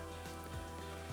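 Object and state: Nothing is struck.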